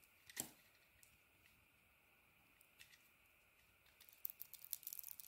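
A utility knife blade shaves and scrapes the green honeycomb-textured coating off a hand-sized solid bar of soap with an orange inside, held in the palm. A quiet, bright, crisp scrape comes near the start, followed by faint intermittent scratching and a flurry of quick, dry crackles toward the end.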